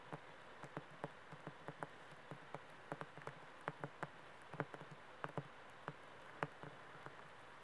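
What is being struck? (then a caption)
Paperback book with laminated card cover. Fingernails tap and scratch the glossy laminated card cover of a large paperback poetry anthology held upright. About twenty quiet, short, dry ticks with a soft low thump come at an uneven pace over a steady faint hiss, each dying away almost at once.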